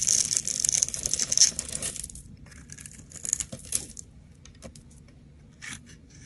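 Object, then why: Glycerin soap bar. A utility knife blade scrapes across a solid, translucent oval bar of green glycerin soap held by a hand with long purple nails, shaving off crunchy flakes. A dense, bright, crackling scrape fills the first two seconds, then thins into sparse, crisp crunches and light ticks as the flakes come away.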